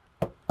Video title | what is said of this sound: EP4 - SWORD - PAINTER - TAKEN FOR A RIDE - REPO RECALL - REPO MAN | Oye, eso es acero sólido.